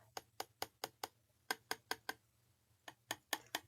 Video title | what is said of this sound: Fun Embellishments with Fast setting Resin | Can you hear that? You hear that? That is already done.